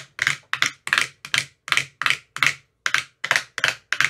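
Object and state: Plastic ice cube tray.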